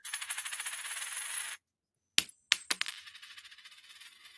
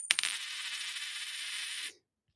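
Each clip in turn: First: genuine silver coin. Second: clad dime, not silver, sounds flat.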